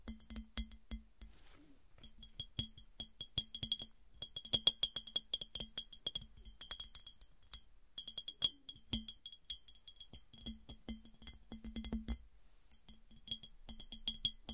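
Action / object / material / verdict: tap / glass piggy bank / glass / none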